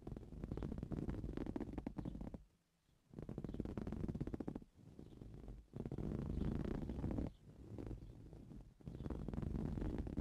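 Both hands scratch the weave of a soft-filled green woven fabric cushion with blue-painted nails. The result is dense, rapid, muffled scratching with a low, rumbling tone. It comes in bursts separated by brief near-silent pauses.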